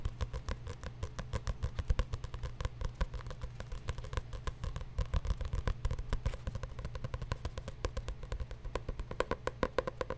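A paper journal is tapped rapidly and continuously with quick, short taps. The taps sound dull and low, each fading almost at once, over a steady low hum.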